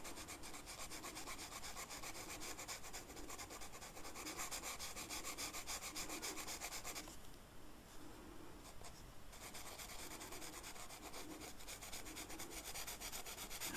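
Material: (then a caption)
Flocked paper. The felt tip of a blue marker is rubbed in coloring strokes across a flat black velvet-flocked paper coloring sheet. It makes a soft, steady, bright scratchy rubbing in a quick back-and-forth rhythm, with a brief, quieter break partway through before the strokes resume.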